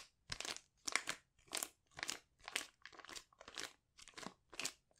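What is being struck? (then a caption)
Foil sachet with soft contents. Fingertips press, crinkle and scratch the surface of a sealed silver foil sheet mask pouch with soft contents, held in both hands. About ten separate bursts of bright, crisp crinkling follow in uneven rhythm, with quiet gaps between them.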